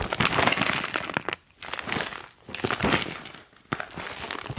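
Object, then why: Foil-lined plastic chalk pouch. Fingers squeeze and crinkle a crumpled, foil-lined plastic chalk pouch, then lift it up and shake it. The result is four bursts of dense, bright crackling and rustling separated by brief silences. The sharp crinkles decay almost instantly.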